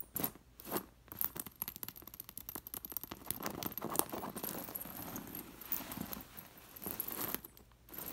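Long nails and fingertips brush and scratch across a metal sequin embroidered pillow, making the dangling metal discs on its white fabric jingle. Bursts of bright, fast clinks and scrapes rise and fall, with louder swipes near the start and quieter rustling jingles through the middle and end.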